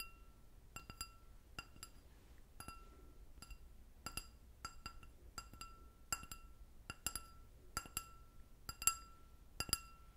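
An empty clear glass goblet with a short stem is tapped with long nails, producing a series of light, quick clinks that often come in pairs. Each tap gives a bright, high glassy ping with a steady ringing tone around 1.3 kHz that fades quickly, over a quiet, low background hiss.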